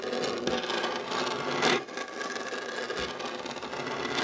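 Short nails and fingertips scratch the surface of a dark, solid wooden tabletop beside a fabric heart coaster that is left untouched. A steady, dry, raspy scratching fills the clip, with a brief louder, brighter stroke near the middle.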